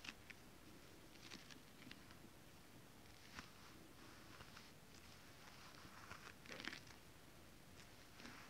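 Fingernails tap and scratch a flat sheet of shiny holographic mermaid scale-printed fabric, then flat hands rub across it. The sound is quiet, with soft, crisp ticks and bright, dry scratching bursts that die away almost instantly over a faint low hiss.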